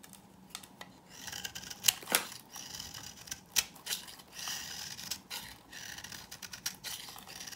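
A knife scrapes and cuts shavings off a hand-held, solid, dry, old pink-orange bar of soap. Quiet, crisp, bright scraping and crumbling is broken by several sharper, louder clicks and snaps as pieces break away, each dying out instantly with no ring.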